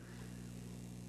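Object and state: Nothing is struck.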